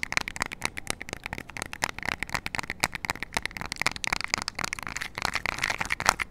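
Long nails rapidly tap and scratch the rubber buttons of a small, flat plastic IR remote for an LED light, held close to the mic. Dense, dry, bright clicks and scratchy rustles come in quick irregular bursts with no ring, over a faint steady hum.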